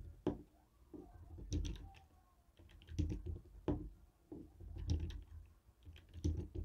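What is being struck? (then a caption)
Plastic TV remote tapped with a jade stone roller. A jade stone face roller taps against a hollow white and black plastic TV remote control. It makes short, dull clicking knocks at an uneven pace, mostly low in tone with bright edges on the sharper hits, and each tap dies away almost at once.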